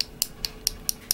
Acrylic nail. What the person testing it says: that one doesn't sound hollow it's not completely dry yet